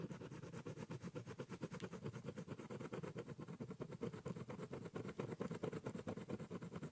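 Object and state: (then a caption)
Pen scribbling on a cardboard box. A ballpoint pen draws small repeated strokes near the top edge of a large, hollow, brown corrugated cardboard box. The result is a steady run of quick, scratchy strokes with a low, hollow, boxy resonance and little high-end hiss.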